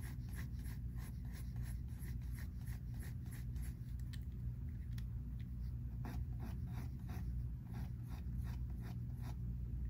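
A pink mechanical pencil held in the fingertips scratches and shades on a thin, flat paper sheet of a large spiral-bound sketchbook resting on a wooden table. Quick, rhythmic, bright scratchy strokes repeat throughout over a steady low rumble that stays at an even level.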